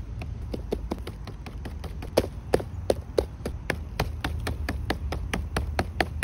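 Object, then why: Large polypore mushroom. A large Berkeley's polypore mushroom found outdoors is tapped repeatedly, giving many short, dull taps with a hollow midrange tone and almost no ring. The taps come quickly in a loose, uneven rhythm over a steady low rumble.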